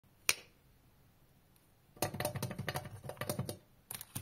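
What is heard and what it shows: A round, plate-sized blue painted metal M&M's candy tin, lid closed, lies on a green rug among Milky Way wrappers while both hands tap and rub the lid with fingertips and short nails. One sharp tap is followed by a quiet pause, then a quick, uneven run of bright, clicky taps and scratches with a dull low thud beneath, ending in a few last taps.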